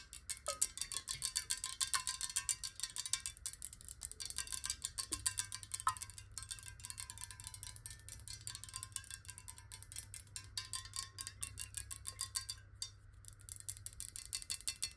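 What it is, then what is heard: Glass water bottle. Long nails tap rapidly on a clear square glass bottle of water held tilted, producing a dense stream of bright, crisp clicks. Each tap decays almost instantly, over a faint ringing tone near 1 kHz and a steady low hum.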